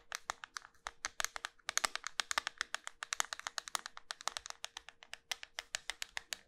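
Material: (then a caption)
Soap. Long white nails tap and scratch the flat top of a small, solid, round pink soap bar with a rim of plastic pearl beads, held in one hand while other soaps sit untouched on the table. About 47 quick, dry, bright clicks and scrapes follow one another with no ring. A faint steady hum runs underneath.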